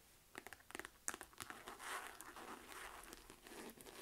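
Long nails tap and scratch the stitched front of a small, hollow, mustard yellow chevron-quilted faux leather flap wallet bag with a chain strap hanging from it. Quick, dry, crinkly taps come first, then a steadier bright scratching rustle, all quiet and close with almost no low end.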